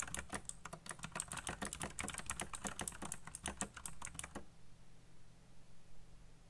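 Fingertips type on a black plastic RGB mechanical keyboard at a slower pace with some pauses, producing a run of sharp, bright key clicks with a low thud beneath each stroke. The typing stops after about four and a half seconds, leaving only a faint low hum.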